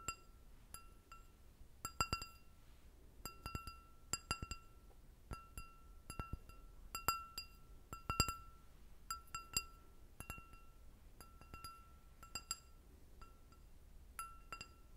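An empty, hollow, clear glass goblet with a short stem is tapped on its bowl with long red nails. The result is a quiet, irregular series of bright clinks, each leaving a brief ringing tone near 1.3 kHz with higher shimmering overtones over a faint low background.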